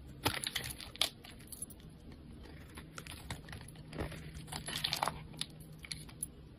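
A solid dark charcoal-colored bar of black soap is held in the fingers and shaved and carved with a metal utility knife blade, flakes piling up around it. Soft, crisp scraping and crackling strokes come in uneven bursts, with sharper clicks near the start and a bright, high hiss over a faint low hum.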